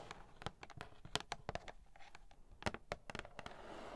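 Long nails tap and scratch the printed front of a medium-size, hollow, pink printed cardboard toy packaging box with a teapot print. A quick, irregular series of short, dry taps with a slight hollow body is interspersed with bright scratching. The clip ends in a softer, continuous rasp.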